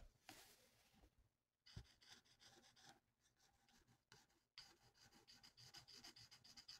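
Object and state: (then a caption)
Felt-tip marker colouring on a paper sheet. A felt-tip marker is rubbed in quick back-and-forth strokes across a thin, flat paper coloring sheet. The result is a soft, bright, scratchy rasping that comes in bursts separated by short pauses, growing into a steadier run of rapid strokes toward the end.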